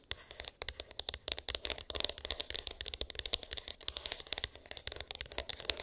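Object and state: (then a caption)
Cardboard phone box. Long pink acrylic nails tap and scratch a small, hollow white cardboard iPhone box with an embossed, textured lid; its contents are unknown. The result is a rapid, dense stream of short, dry clicks and scratchy rasps. They are mostly high and bright, centred around 3.7 kHz, with little low end and almost no ring after each hit.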